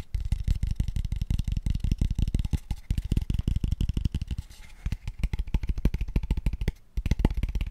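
A small, empty, open-ended square tube of pale wood is held in the hands and tapped quickly with fingertips and nails. It gives a rapid, continuous run of short, dry, hollow knocks with deep low thumps and almost no ring. The taps briefly pause just before the end, then resume.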